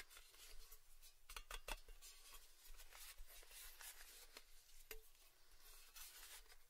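A round, red-rimmed painted Baileys tin lid of thin metal, hollow and empty, is held in both hands and tapped with fingertips and nails. The result is a quiet, steady run of light, dry taps and bright clicky ticks that stop almost instantly, with a faint hollow tone in the middle range. A soft low rumble sits underneath throughout.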